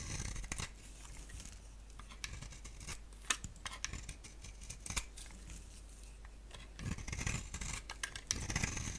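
A palm-sized, solid oval bar of dry soap with a black shell and cream interior is scraped and shaved with a box-cutter blade. Crisp, bright scraping strokes and sharp clicking snaps come at an irregular pace over a steady low hum, with a busier cluster of scrapes near the end.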